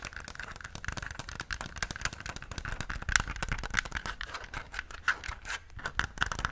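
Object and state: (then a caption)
Plastic game controller. A yellow, Pikachu-shaped, handheld-size hollow plastic gamepad is held in both hands while fingertips rapidly press and click its buttons and handle the plastic shell. The result is a dense stream of short, dry plastic clicks and light rattles with almost no ring, a steady tone around 1.5 kHz, and a few sharper, brighter clicks standing out.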